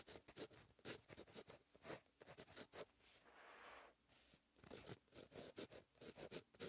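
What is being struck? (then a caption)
Ballpoint pen on thin notebook paper. A fine-tipped plastic ballpoint pen scratches across a thin lined page of a paperback notebook lying flat on a surface, writing Korean cursive. Short, bright scratchy strokes come in quick bursts, with a softer, continuous stroke in the middle.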